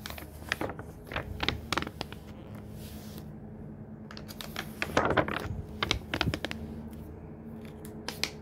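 Fingertips brush across the paper pages of a thick hardcover book and turn them, making soft, dry rustles and sharp, bright ticks of paper. A denser, louder flurry of page noise comes near the middle, over a faint steady low hum.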